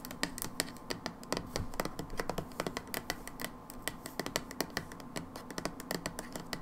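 Long nails rapidly tap the back label of a brown plastic hydrogen peroxide bottle. Quick, dry clicks follow one another in a steady, uneven patter, each dying away almost instantly, with bright ticks over a faint low hum.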